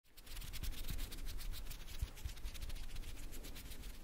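Long acrylic nails and fingertips scratch and rub a soft, porous black foam windscreen on a handheld microphone. The result is a continuous, close, rhythmic scratching with quick strokes, a heavy low rumble and a bright crackling hiss.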